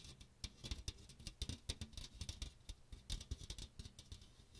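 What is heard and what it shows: Fingernails scratch the fine metal mesh of a small strainer with a teal plastic rim, held close to the microphone. The result is a fast, uneven run of short, dry scratching bursts with a bright, hissy top and soft low thumps underneath, each stopping almost instantly with no ring.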